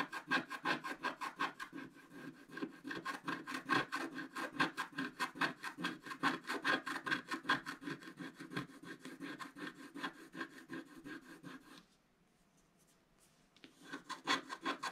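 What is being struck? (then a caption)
Wax-coated scratch-art paper scraped with a wooden stick. A wooden stick scratches across the upper area of a black wax-coated scratch-art paper page while the other hand holds the page's bottom edge. It makes a fast, uneven run of dry, raspy scratching strokes, about two to three a second, with a bright papery hiss and a mid-high tone near 1.6 kHz. The scratching stops into near silence around the twelfth second, then resumes for the last second or so.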